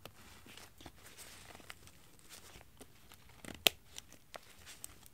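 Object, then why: Nylon windbreaker jacket. A black lightweight nylon windbreaker jacket lies flat on carpet while long painted fingernails pull its zipper and handle the crinkly shell fabric. Soft, bright crinkling and rubbing rustles run throughout, broken by a few sharp ticks, one clearly louder than the rest.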